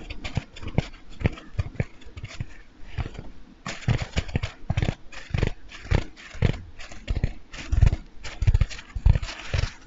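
A large, light-blue porous foam bath sponge, not hollow, is held beside the microphone and scratched and rubbed with fingernails and fingertips. A quick, irregular run of dry, scratchy brushing bursts follows, each with a soft, muffled low thump. Between the bursts there are brief quiet gaps.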